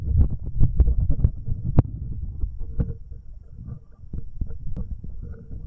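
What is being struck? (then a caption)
Metal microphone capsules touched with rubber-covered fingertips. Fingertips in rubber finger cots rub the metal binaural microphone capsules, first the left one and then both. The result is deep, muffled rumbling with irregular soft thumps and scratchy rubbing, almost all of it low in pitch. It is loudest in the first two seconds and then settles to a quieter, uneven rustle.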